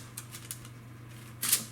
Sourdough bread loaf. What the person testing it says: when you lift it up and knock on the bottom, it should sound nice and hollow, which this one does